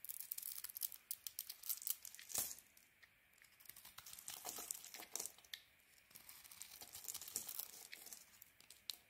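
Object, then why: Soap bar. A solid grey-and-white Penaten soap bar held in the hand is shaved and carved with a small metal blade, curling off thin flakes. Quiet, bright, crisp scraping and cutting strokes come in irregular bursts with brief pauses, carrying almost no low end.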